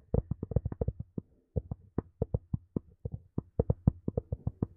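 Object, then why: Small plastic earphone case. Long nails tap and scratch a small, hollow black plastic Sony earphone case in a quick, uneven run of about 25 short, dry hollow knocks with a plopping tone. Each tap stops almost instantly, and faint scratching fills the gaps between them.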